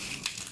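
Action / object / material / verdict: scrape / fried spring roll with pastry wrapper / fried pastry / crispy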